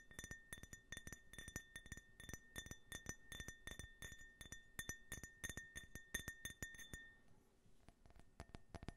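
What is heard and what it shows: An empty, small hollow glass tumbler printed with an American flag design is tapped with fingernails while being turned in the hands. The result is a rapid series of bright clinks, each carrying a clear ringing tone near 1.8 kHz with high overtones. Near the end the ring fades and the final taps sound duller and drier.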